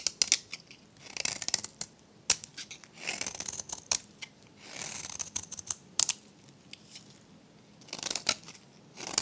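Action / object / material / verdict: scrape / bar of soap cut with a metal blade / soap / none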